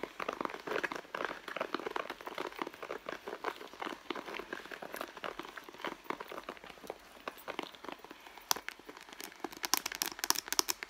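A red pebbled-leather handbag, soft and hollow, is held and squeezed at the end panel while long blue nails scratch and tap the leather near the stitching. Dense crinkly scratching and soft rustling run throughout. Sharp, bright taps stand out near the end.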